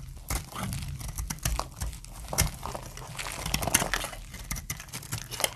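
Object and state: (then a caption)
Glycerin soap bar being shaved with a blade. A hand with long painted nails shaves a solid, translucent brown glycerin soap bar again and again with a utility knife blade, scraping and cutting off dry curls. The result is a steady run of crisp, crinkly scrapes with bright, crackling edges over a soft low rasp, each stroke dying away instantly.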